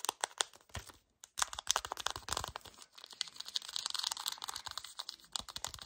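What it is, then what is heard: Cardboard box, handled. Fingernails and fingertips grip, scratch and tap the surface and edges of a full yellow cardboard chocolate bar box held up close. Dry, bright crackling scratches and sharp little taps come in fast, uneven bursts, with a brief silence around one second. A denser, steady rasping scratch fills the second half.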